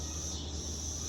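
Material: Nothing is struck.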